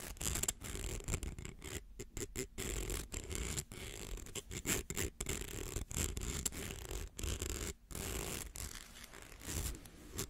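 Fingernails scratch along the ridged coils of a small, hollow, rainbow plastic slinky held in both hands. The result is a dense, raspy scraping broken by brief silent gaps, with a steady high, bright edge over a low rumble.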